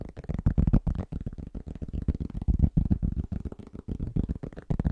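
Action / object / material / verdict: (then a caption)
tap / flat round cork board / cork / none. Fingertips of both hands tap quickly on a large, round, flat, solid cork trivet. The taps land as a fast, uneven patter of soft, dull, low thuds with almost no ring and no bright edge.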